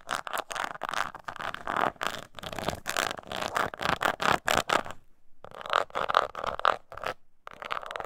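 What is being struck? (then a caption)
Small croc-textured leather purse. Long nails scratch the bottom and sides of a small, hollow croc-embossed leather mini purse held in the hand, making a rapid series of short, dry rasping strokes centered in the midrange with bright edges. The scratching pauses briefly around the five-second mark, then resumes with slightly sharper, tone-like strokes.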